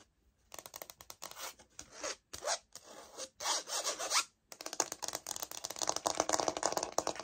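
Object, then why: Laminate floor plank sample. Long nails scratch and tap the textured face of a light oak laminate floor plank sample held in the hands. Dry, bright rasping strokes come in uneven bursts, broken by a brief silence, followed by a denser run of quick scratches and taps. There is no low rumble and each sound stops almost instantly.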